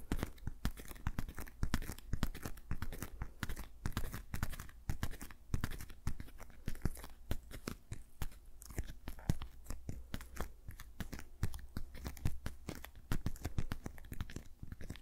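Fingertips tap rapidly on the fingers of a patterned rubber dish glove worn on the other hand. The result is a steady, dense stream of short, dull taps with slight crunchy, rubbery texture, each dying away almost instantly. Most of the energy sits in a low thump with little brightness.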